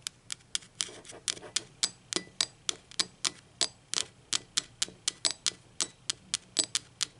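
Long acrylic nails tap the base of a hollow, speckled teal ceramic mug lying on its side with its base facing the camera, giving 26 quick, irregular taps. Each tap is a sharp, bright click with a faint glassy ring that dies away almost instantly, with nearly no low end.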